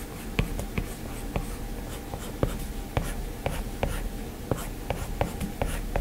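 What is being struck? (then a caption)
Plastic stylus on a glass tablet screen. A plastic stylus tip makes quick scratching strokes and taps on an iPad's glass screen. Fourteen sharp, dry taps stand out from a soft, continuous scratching bed. Each tap is brief with almost no ring, and the sound sits mostly low with little high content.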